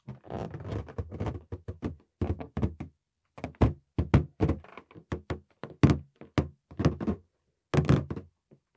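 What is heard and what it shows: Fingertips tap and knock on the surface of a green, hollow, air-filled latex balloon about the size of a head, held in both hands just above a microphone that is not touched. A quick, uneven series of soft, dull thunks is heard, deep and boomy with little brightness, each dying away almost at once. Short gaps of silence break up the bursts of tapping.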